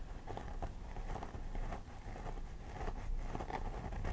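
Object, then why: Plastic doll head with synthetic hair. Both hands pick and scratch with long nails along the part line of a life-size plastic doll head with synthetic hair. A quiet, continuous patter of soft, crackly scrapes rises and falls in short bursts, with most of the energy low and little brightness.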